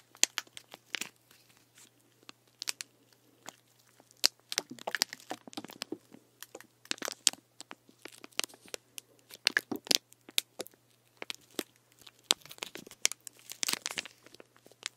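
Fingertips and short nails tap and scratch along a medium plastic Gatorade-style sports drink bottle, full of green liquid, with an orange plastic cap and a plastic wrap label. Many quick, bright clicks and crinkly, crunchy scratches come in irregular bursts, each one dry and cut off almost at once.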